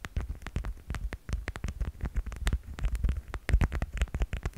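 Rapid tapping on a plastic cat figurine, with dozens of short, dry taps in a quick, uneven rhythm. Each tap is a dull, low thump with a faint bright click on top that dies away almost at once.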